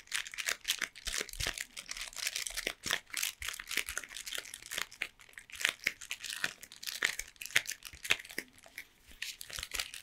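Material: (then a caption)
Cardboard. A closed Toblerone long triangular cardboard box, held in both hands, is tapped and scratched along its length by long painted nails. The result is a dense run of quick, dry, bright clicks and scraping crinkles, mostly high-frequency, with little low end and no ring after each tap.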